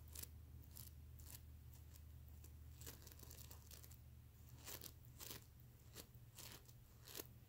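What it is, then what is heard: Sequin pillow being scratched. Fingertips and nails brush across the plastic sequins of a soft, stuffed mermaid unicorn plush pillow. They make short bursts of bright, crisp scratching and rustling. The bursts sit over a steady low hum.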